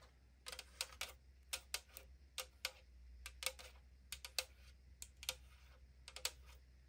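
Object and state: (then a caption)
Aluminum drink can. Long nails tap along the side of a tall AriZona aluminum can resting on a wooden surface. About 21 quick, bright, metallic clicks come in irregular clusters, each dying away almost instantly over a faint steady low hum.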